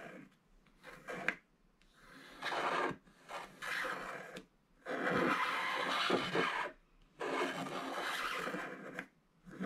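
A wooden stylus scrapes the black wax coating off a small, flat scratch-art card of gold foil paper held in one hand, clearing a vertical strip that exposes the gold foil while black flakes pile up at the card's edges. Six dry, bright, rasping scratch bursts of varying length are separated by short quiet pauses.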